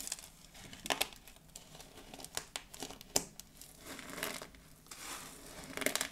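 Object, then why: Pile of dried soap pieces. Both hands with long blue nails squeeze, scoop and press flat on a heap of small, brittle pink, blue and white dried soap pieces, crushing them. Bright, dry crunching and crinkling comes through as a string of sharp crackles and grainy rustling bursts, with almost no low end and no ring after each snap.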